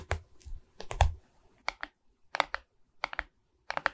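Long red nails tap and scratch across the resin bead face of a medium Mickey Mouse diamond painting on a framed wooden board held upright. Quick, dry clicks come in short clustered bursts, with a soft low thump under some taps and brief scratchy rasps between them.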